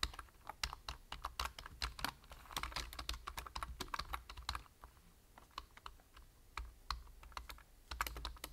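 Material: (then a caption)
Plastic. Fingertips type on a full-size black plastic computer keyboard with a hollow body and plastic keys, making rapid, crisp key taps with a sharp, bright click. The typing runs in quick bursts, eases into lighter, sparser taps midway, then picks up again, over a faint low hum.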